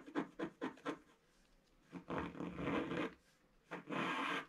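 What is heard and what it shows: A thin wooden stylus scratches a flat black wax-coated scratch art sheet in a book while the other hand holds the page. Four quick, dry scratching strokes are followed by two longer, steadier rasping scrapes, each with a brief light touch just before it.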